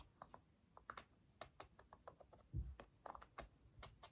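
Rapid, light clicks come from the rubber buttons of a black plastic TV remote as they are pressed with the fingertips while it is held above the table. About nineteen quiet, short taps sound in a quick, uneven run, with one duller low thump in the middle.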